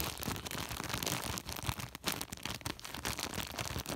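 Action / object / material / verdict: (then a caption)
scrape / woven polypropylene sack / polypropylene / none. Fingertips scratch and rub the woven surface of a large white woven polypropylene sack. The result is a dense, continuous, bright rasping rustle with quick crinkly textures, briefly dipping quiet near the midpoint before resuming.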